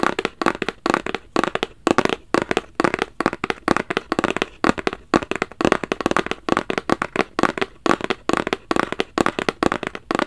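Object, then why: Rigid cardboard box. A small, hollow, black rigid cardboard Versace gift box is held upright and tapped with fingertips and nails in quick, irregular bursts. Dozens of dry, hollow knocks carry a mid-range tone near 370 Hz, with bright clicky nail edges. Each tap dies away almost instantly.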